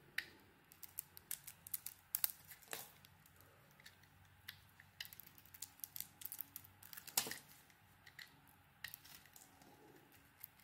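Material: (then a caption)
Soap. A solid oval bar of dry soap, green inside with an orange coating, is held in one hand and shaved with a small metal blade so curls peel off. Many short, bright scraping and crisp cutting sounds follow one another in a quiet, irregular run, with a few sharper strokes standing out.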